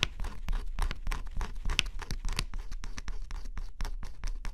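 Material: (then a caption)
Cardboard. A stylus scratches the coating off a flat cardboard scratch-off jigsaw puzzle in quick, repeated strokes. Each stroke is a short, dry, bright scrape with almost no ring, over a steady low rumble. The strokes run one after another for the whole clip at a fairly even, moderate loudness.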